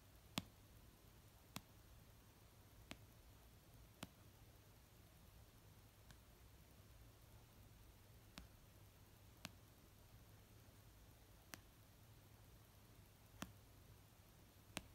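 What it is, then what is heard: Paperback book. A fingernail tip slowly taps the cover of a solid paper, orange paperback novel resting on a blanket. Ten short, dry clicks are spaced a second or more apart, each fading almost instantly over a quiet, steady low hum.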